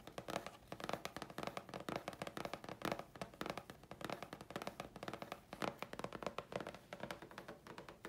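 A thin, flat grey chipboard sheet held in the hands is tapped rapidly with long fingernails. The result is a dense run of short, dry clicks with a hollow tone around 570 Hz and very little ring, some taps landing louder than others.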